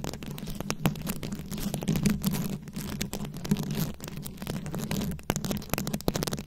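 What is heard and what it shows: Long acrylic nails tap and scratch over the plastic beads of a fist-sized, rhinestone-covered microphone head, giving a dense run of quick, dry clicks and gritty scraping. A steady low hum sits underneath, around 180 Hz.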